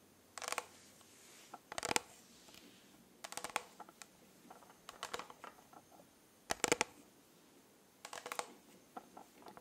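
Fingernails tap and scratch the studded sides of a rhinestone-covered plastic tumbler with a pink lid. Bursts of bright, crackly clicking and scraping come in clusters with quiet gaps between them.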